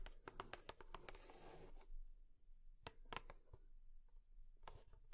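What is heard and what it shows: Long nails tap on a cardboard tissue box, making quiet, sharp, dry clicks that die away almost instantly. A brief soft scratching rustle comes between the taps. The taps come in quick bursts, then turn sparser and lighter.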